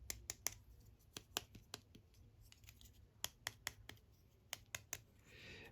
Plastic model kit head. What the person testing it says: this sounds hollow which is interesting because they're both technically the same amount of parts